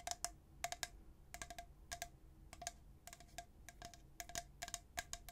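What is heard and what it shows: A tall, hollow, white-coated stainless steel travel tumbler with a black plastic lid is held in one hand and tapped quickly with the fingernails of the other. Bursts of bright, clicky taps each carry a clear chime-like ring near 700 Hz, with quick high sparkle. The taps cluster in rapid groups over a faint background hiss.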